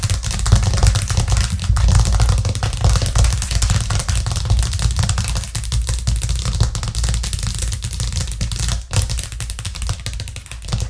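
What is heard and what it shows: Long acrylic nails and fingertips tap fast on a thin, solid white plastic cutting board with a green rim, lying flat on a cork coaster. The result is a dense, uneven stream of quick taps: low, hollow thuds with bright, clicky nail strikes on top. The tapping continues steadily for about eleven seconds, with brief dips in between.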